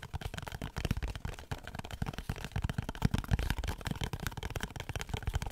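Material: Cardboard.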